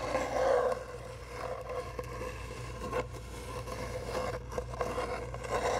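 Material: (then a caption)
Cardboard. Long nails rub and scratch along a long, hollow brown cardboard tube, producing a steady papery scraping with a hollow, resonant tone near 500 Hz. Faint low rumble sits underneath, and a few sharper scratches stand out, with the loudest rubbing near the start and end.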